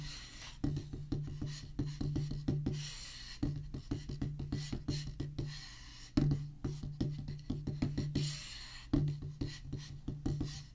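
Two wooden drumsticks tap a solid black rubber practice pad on a wooden base in quick, uneven runs. Dozens of short, dull, low thuds die away almost at once, with a louder accented stroke opening each phrase.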